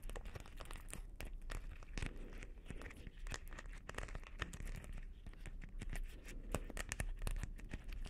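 Fingertips and long nails scratch and tap over the beads of a hollow, palm-sized blue beaded plastic Christmas ball ornament. The result is a quiet, steady stream of dense, crinkly clicks and ticks over a low rumble, with brief brighter taps standing out here and there.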